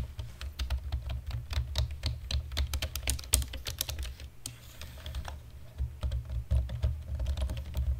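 Both hands type with fingertips and short natural nails on a black plastic chiclet-style computer keyboard, producing a rapid run of short, crisp, bright key taps that die away almost instantly. The typing thins out and quiets briefly in the middle before picking up again, all over a steady low hum.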